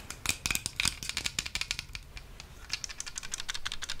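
A small, hollow white plastic travel plug adapter is held in both hands close to the microphone while long manicured nails tap and scratch its casing. The result is a rapid series of crisp, bright clicks and scratchy ticks with very short decay, some louder taps standing out, over a faint low rumble.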